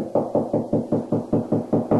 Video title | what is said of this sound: How to install a grab bar...Part 2 | then it goes back down. Hear that? It's hollow.